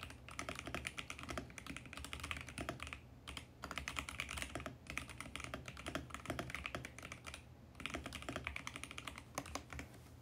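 Fingertips type rapidly and continuously on a VGN X68 compact mechanical keyboard with plastic keycaps and a mint plastic case. Dense bursts of bright, crisp key clacks die away almost instantly, with brief pauses around three and seven and a half seconds.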